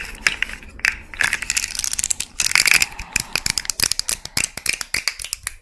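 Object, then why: Jointed plastic fidget slug toy. A small rainbow fidget slug toy made of hollow, jointed plastic segments is held close to the microphone while its segments are flexed and scratched with long nails. It makes a dense run of sharp, bright, ratcheting clicks in irregular bursts, each dying away almost instantly, with almost no low end.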